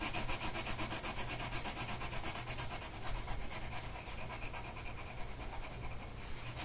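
A blue colored pencil tip is rubbed back and forth across a flat printed mandala coloring sheet of paper lying on a table, held in place by one hand. The strokes make a steady, fast, scratchy rasp of about four strokes per second, with bright hiss over a low, continuous hum.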